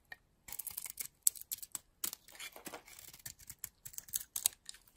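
A metal blade scrapes and shaves a solid teal bar of soap with a white interior, held in the palm. A rapid series of crisp, dry scraping and shaving strokes is heard, bright and hissy with almost no low end, each stopping short with no ring.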